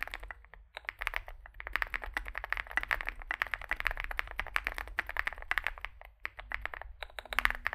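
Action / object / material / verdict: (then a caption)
tap / mechanical keyboard with plastic keycaps / plastic / none. Fingertips type continuously on a Zoom65, a small 65% mechanical keyboard with a dark case and white and grey plastic keycaps. The result is a dense, steady stream of short, sharp clicks and clacks centered around 1.9 kHz with bright upper edges, over a faint low hum.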